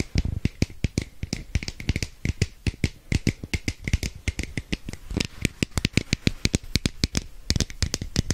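Long nails rapidly tap and scratch a hand-sized, red and orange hollow plastic capsule held close to the mic. The result is a dense stream of dozens of sharp, dry clicks with a low hollow thump beneath and a bright edge on top. Each tap stops almost instantly, with no ring.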